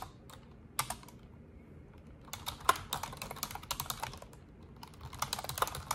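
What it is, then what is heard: Plastic computer keyboard being typed on. An Asus desktop keyboard with black plastic keycaps and a silver frame is typed on with long orange nails and fingertips in rapid key presses. Sharp, dry clicks and clacks come in uneven bursts, a few isolated taps at first and then denser runs of keystrokes, each dying away almost instantly over a faint low background hum.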